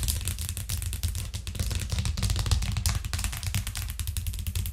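Long nails of both hands tap fast on a thin white plastic cutting board with green edges lying flat on a cork trivet. The taps blur into a dense, steady clatter of bright clicks over a low, hollow thud, each tap dying away quickly.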